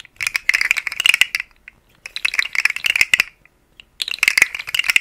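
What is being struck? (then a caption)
Segmented plastic slug fidget toy. A rainbow, segmented, hollow plastic articulated slug fidget toy is held in fingers with long nails and wiggled so its segments rattle and click. Three bursts of dense, bright, dry clicking are heard, separated by short silences. The sound has almost no low end.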